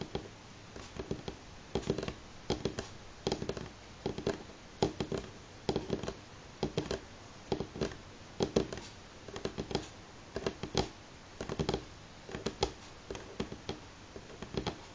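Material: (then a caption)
Wood. Fingernails of both hands tap on a solid, light wooden table top. Quick, dry taps with almost no ring come in irregular clusters and short rolls, each giving a hollow woody knock in the low-mid range. A faint steady background hiss fills the gaps.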